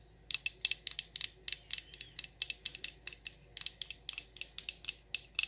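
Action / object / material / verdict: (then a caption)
tap / wax pillar candle / wax / none. Long nails tap and scratch the surface of a large, solid orange wax pillar candle with a paper wrap and tag. About 29 quick, crisp, high-pitched clicks and scrapes come in an uneven rhythm over five and a half seconds. Each one is bright and thin with almost no low end and dies away at once.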